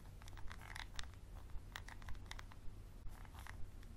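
A wooden pencil scratches and taps a small textured glass bottle with a dark cap, held in one hand. Soft, dry scraping runs throughout, broken by short, bright clicks that die out almost instantly, over a low steady hum.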